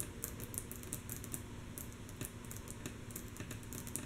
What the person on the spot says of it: ASMR - Rhythmic Tapping on Wood Table With Long, Natural Nails - Mostly Soft Tapping